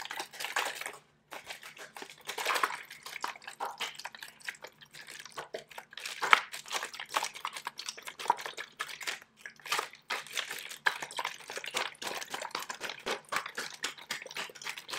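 A mostly empty, clear, thin plastic water bottle with a blue label is held up, squeezed and crinkled by a hand with long nails, then shaken. The result is a dense run of sharp, dry crackles and crinkles with bright hiss and almost no low end, alongside faint sloshing of the water left inside.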